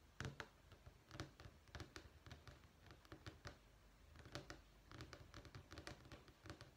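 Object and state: Vinyl flooring sample sheet.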